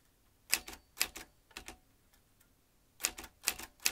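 Fingertips tap the round keys of a vintage metal manual typewriter with exposed metal typebars and an ink ribbon spool. Eleven sharp, bright clacks land mostly in quick pairs, each dying away almost instantly, with a quiet gap of over a second near the middle.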